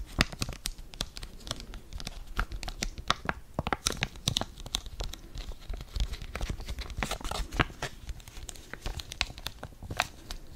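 Fingers crinkle a flat blue foil-laminated sachet holding a sheet face mask, rubbing its sides against each other up close. A dense run of sharp, bright crackles and tearing-like crinkles fills the clip over a soft low rumble, each snap dying away almost instantly.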